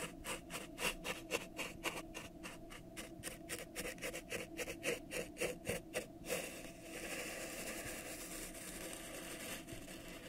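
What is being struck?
Thin plastic cup.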